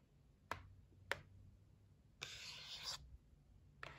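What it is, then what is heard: Cardboard gift box. Long nails tap the lid edge of a white cardboard gift box resting on a table, making quiet, sharp, bright clicks with almost no ring. Three separate taps are heard, with a longer scratchy scrape of nails across the box in between.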